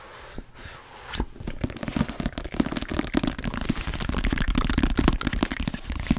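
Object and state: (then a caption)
Paperback book. Long painted nails tap and scratch the cover and edges of an orange softcover paperback book with a barcode, held in both hands close to the microphone. The sound is a fast, irregular run of crisp clicks and papery scratches over a low rumble, quiet at first and then growing denser and louder.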